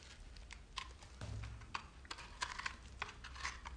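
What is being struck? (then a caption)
Bar of soap cut with a metal knife. A solid speckled bar of soap, held in the hand, is scraped and cut along its side with a metal knife blade, and crumbs fall off. A rapid, uneven series of short, crisp, bright clicks and scratchy scrapes sounds over a low, steady rumble. Each tick dies away almost at once.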